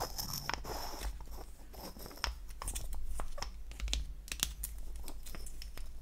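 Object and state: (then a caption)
Wooden lipstick case. Long acrylic nails scratch and tap on a small, light wooden lipstick cylinder with a cap seam, held in the hand. Quick, dry clicks and crisp scratching sweeps stand out as bright transients over a steady low hum, with each tap dying away almost instantly.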